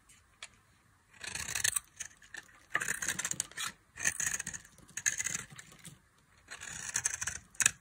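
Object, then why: Bar of soap cut with a blade. A box-cutter blade cuts into a solid tan bar of dry soap, and flaky chips break away. The cuts come as bursts of bright, crisp scraping and crackling, separated by short quiet pauses, with almost no low end.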